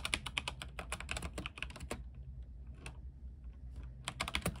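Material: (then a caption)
Plastic. Fingertips of both hands type on a compact mechanical keyboard with white plastic keycaps and a silver case, lit in warm RGB colours. Quick, bright, short clicks come in a dense flurry for about two seconds, thin out to scattered taps, then return in a final burst. A steady low hum sits underneath throughout.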